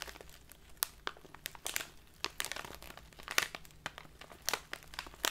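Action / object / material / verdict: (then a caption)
scrape / clear plastic bag of loose leaf tea / plastic / none. A tall clear plastic bag with a paper label, full of loose leaf tea and standing on a table, is squeezed and crinkled with both hands and long dark nails. Sharp, bright crackles and crinkles come in quick irregular bursts over a quiet background, with almost no low end and each snap dying away at once.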